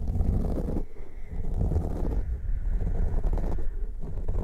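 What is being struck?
Foam microphone windscreens.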